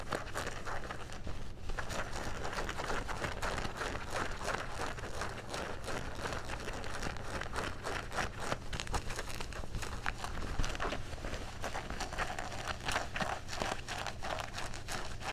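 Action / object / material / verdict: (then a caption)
scrape / denim jeans fabric / denim / none. Fingernails scratch the pocket and fabric of dark blue denim jeans and bunch the cloth in the hands. The result is a dense, steady run of rough crinkling and scratching over a constant low hum, with no clear pauses between strokes.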